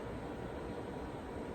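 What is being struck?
Nothing is struck.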